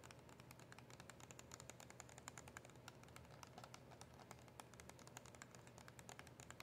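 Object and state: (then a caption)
Cardboard box with plastic window. Long acrylic nails tap on a small, hollow cardboard box of mint press-on nails with a plastic window. The result is a steady, quiet stream of quick, dry clicks with bright edges and almost no ring, over a low background rumble.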